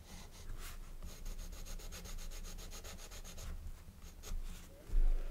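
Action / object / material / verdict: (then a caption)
scrape / colored pencil on a paper page / paper / none. A blue colored pencil rubs repeatedly back and forth across the page of an open paper coloring book while shading, the book resting on a wooden table and held down by the left hand. It makes a steady, soft scratchy rasp with bright papery texture over a low background rumble. A louder bump comes near the end.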